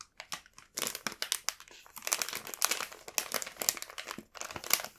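A full, printed plastic bag of burdock rolls is tapped and rubbed with fingertips, giving a dense run of bright, crisp crinkles across its soft plastic surface. The crackles come in quick bursts with brief pauses, and the sound is almost entirely high with no low end.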